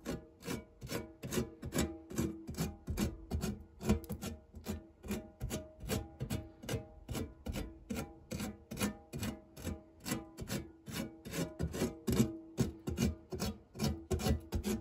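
A silicone spatula rubs and scrapes back and forth across the textured base of a round, fluted, non-stick metal tart tin scattered with crumbs. The strokes are steady, fast and rhythmic at about two per second, each a short, dry, raspy scrape with a low hollow body and a faint metallic ring.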